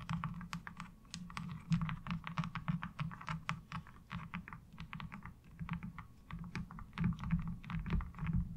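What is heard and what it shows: Long acrylic nails rapidly tap and scratch a flat, thin, light blue plastic laundry washboard with a diamond-textured surface lying on dark cloth. The result is a dense, continuous stream of short, dry clicks and scrapes over a low, steady hum.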